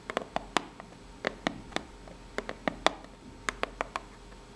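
Long nails scratch and tap the ribbed surface of a small, hollow, brown corrugated cardboard box. About 16 short, crisp taps land at an uneven pace, each a dry click with a hollow midrange tone and a bright edge. Faint scratching fills the gaps between them.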